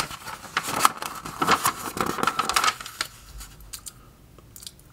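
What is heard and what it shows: Fingertips lift, flip and smooth the thin glossy paper pages of an open trade magazine lying on a table. Crisp, bright rustles and crackling swishes come thick and fast for about three seconds, then thin out into softer, scattered rubs and ticks.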